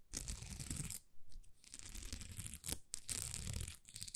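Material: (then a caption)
Plastic. Long nails scratch across a thin, flexible sheet of small plastic rhinestone stickers, producing dense, crackly scratching with a bright, hissy top and a soft low rumble. The scratching comes in bursts with brief pauses, including a sharp stroke near the middle.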